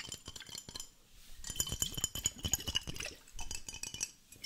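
A glass water hourglass, two glass bottles joined by a black connector and partly filled with green liquid, is held in both hands, tilted and flipped so the liquid runs between them. It gives a busy stream of bright clinks and glassy rattles with soft sloshing underneath, in quick bursts separated by brief quieter pauses.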